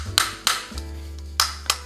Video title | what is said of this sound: 5 cara membedakan charger iphone ori dan kw, Oem - cas Ibox | ketika kita ketuk suaranya akan rapet ya dan Ia memang ini kualitasnya si plastik keras ya Jadi kita ketuk itu kok nggak kopong